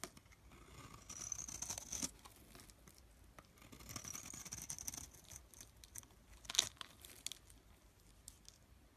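A rectangular solid bar of blue-and-white striped soap, pre-scored, is pressed and crumbled at its cut surface with fingertips, and the loose flakes are rubbed away. Soft, bright crumbling and crinkling bursts swell around 1–2 seconds and 4–5 seconds, with a sharper crack near 6.6 seconds. The sound stays quiet and dry, with little low end.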